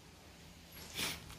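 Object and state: Nothing is struck.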